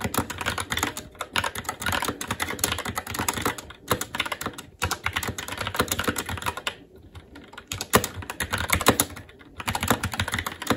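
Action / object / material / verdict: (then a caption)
tap / mechanical keyboard with plastic keycaps on a metal plate / plastic, metal / none. Fingertips of both hands type continuously on a SteelSeries Apex 7 TKL mechanical keyboard with Red switches, black plastic keycaps on a metal plate, and a hollow RGB-backlit case resting on a desk. A dense, steady stream of short clicky key strikes with a low hollow thock underneath, briefly thinning around the five- and seven-second marks before resuming.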